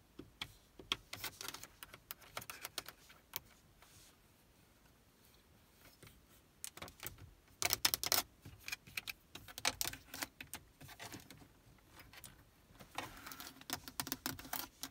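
Long nails tap quickly on the buttons, knobs and surface of a black plastic car stereo faceplate in a Prius. Bright, dry clicks come in fast bursts with a quiet stretch around four to six seconds, and each tap dies away almost instantly.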